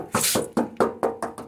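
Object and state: Solid steel car body panel.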